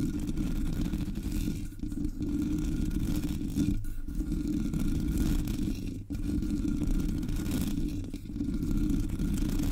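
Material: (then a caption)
Metal mesh. Long nails scratch across the top and sides of the hollow black metal mesh grille of a Blue Yeti microphone. The result is a dense, continuous low rasping rumble, with brief dips in loudness at a few points as the strokes change.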